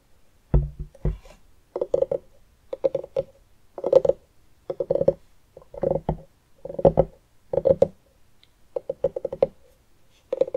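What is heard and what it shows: A medium orange pumpkin with its top cut off and its inside scooped out hollow is held up, then set on a wooden table, and tapped and scratched around the rim and sides with the long nails and fingertips of both hands. Bursts of quick, dry taps and scratches come in clusters separated by short pauses, each carrying a hollow, woody tone around 535 Hz that dies away almost instantly.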